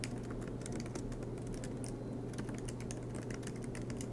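Fingertips of both hands type continuously on a silver MacBook Pro's black plastic low-profile keys, set in an aluminum chassis. A steady stream of light, bright key clicks and taps runs over a constant low hum.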